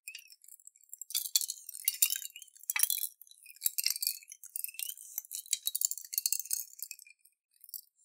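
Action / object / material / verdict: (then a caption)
shake / glass jar with water and beads / glass / none. A clear glass jar with a metal screw lid, holding water and colorful beads, is rotated and shaken by hand. The beads make bright, rapid clinking and rattling in irregular bursts, with a faint watery swish and almost no low end. The sounds die away quickly between shakes.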